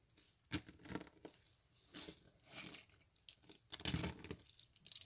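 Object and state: Dry soap curls being crushed.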